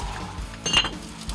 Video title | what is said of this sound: 300년 명맥을 지켜온 한국의 장인 정신, 푸레도기 장인│1,300℃ 초고열 가마 속 4박 5일 푸레도기 제작기│사라져서는 안될 우리의 전통 기술│극한직업│#골라듄다큐 | 종을 두드리듯 맑은 소리가 나는 것이 특징입니다